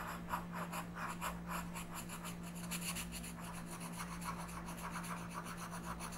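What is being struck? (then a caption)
Colored pencil on a paper coloring page. A pink colored pencil is rubbed slowly across a flat paper coloring book page while coloring. Quick, slightly uneven scratchy strokes repeat at about three to four per second, with a soft papery rasp and high hiss. A steady low hum runs underneath throughout.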